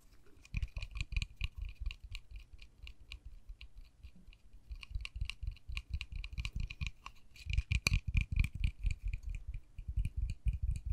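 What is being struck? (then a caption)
Small painted wooden miniature door. A small, solid, white-painted wooden miniature dollhouse door with a pink panel and a tiny knob is tapped and scratched with long nails and fingertips. Rapid, irregular taps produce dull, low, woody knocks with bright clicky ticks on top, mixed with soft scratching. The taps grow busier and louder toward the end.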